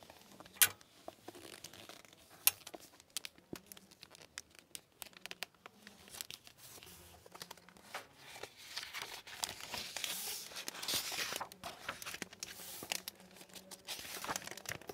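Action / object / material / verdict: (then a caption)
scrape / hardcover book with plastic-covered paper dust jacket / laminated paper / none. A hardcover library book with a shiny plastic-laminated paper dust jacket is held in one hand while fingertips with long nails rub and crinkle the jacket, then the book is opened to the jacket flap. Sharp crinkles and taps give way to a denser, hissing rustle of plastic with a bright, papery sheen.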